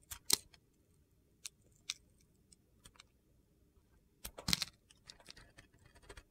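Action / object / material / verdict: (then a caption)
scrape / bar of soap shaved with a blade / soap / none. A utility knife blade shaves the surface of a solid, palm-sized, rectangular bar of soap coated in gold glitter, held in the hand, with a scraping, carving motion. Quiet, crisp, bright scrapes and gritty crunches come in short, separate bursts, with a louder cluster near the start and another near the end.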